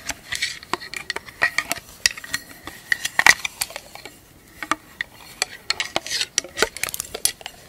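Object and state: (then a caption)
Metal tin lid tapped with nails. Long acrylic nails tap and scratch the top and rim of a small, round, hollow silver metal tin lid held in the hands. A quick, uneven run of bright, clicky metallic taps with faint scratchy rasps between them, each tap ringing briefly near 1.9 kHz and dying away almost at once, with a short quieter lull midway.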